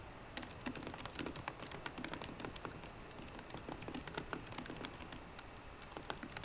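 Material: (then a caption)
Plastic. Fingertips with painted nails on both hands type on the black plastic keys of a solid 13-inch silver aluminium MacBook Pro. The result is a steady stream of quick, crisp clicks and taps with bright, short attacks and a soft low thud under each keystroke, over faint background hiss.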